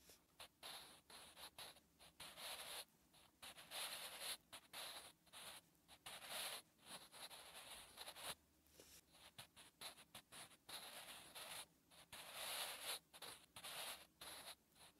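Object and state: Pencil writing on notebook paper.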